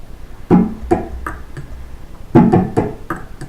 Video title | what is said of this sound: Dwayne's first guitar build prt 15 | He said you just tap it with the screwdriver, and as you can hear, we've got power to that pickup.